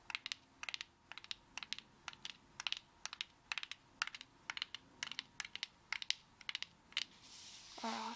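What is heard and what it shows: Long acrylic fingernails tap quickly on a coconut shell, making sharp, bright clicks in small clustered bursts with almost no ring. At the end the tapping gives way to a brief soft rubbing hiss.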